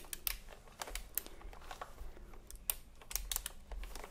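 A retro typewriter-style computer keyboard with round plastic keycaps is held upright while the fingertips of both hands tap the plastic keys. The result is a quick, uneven run of short, sharp, bright clicks that stop almost instantly, over a soft low rumble.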